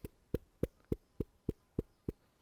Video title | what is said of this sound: Picking fleece | that elasticity in the wool is is great it means it's got some strength to it